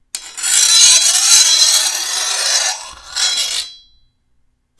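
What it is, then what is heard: Steel machete blade being filed. A hand-held steel file is drawn along the edge of a long, thin, solid steel machete blade in two rasping strokes, a long one followed by a shorter one. The scraping is bright and hissy with a faint metallic ring that fades out, and a brief click sounds at the very end.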